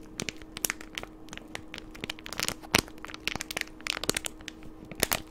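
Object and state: Plastic candy wrapper crinkled.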